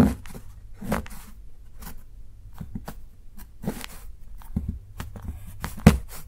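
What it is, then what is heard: Dark chocolate bar being shaved. A steel kitchen knife shaves along the cut edge of a solid, segmented dark chocolate bar held by fingertips, using fewer strokes. A series of short, dry scraping and shaving bursts rise over a low background rumble. Each stroke ends in a faint crunch that dies away quickly.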